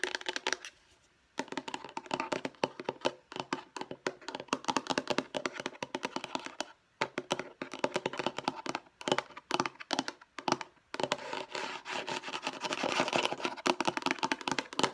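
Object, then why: Plastic storage box. Long nails tap rapidly on the lid and edges of a hollow, light blue plastic storage box. The result is a dense stream of dry, bright clicks that stop almost instantly, broken by a few brief pauses.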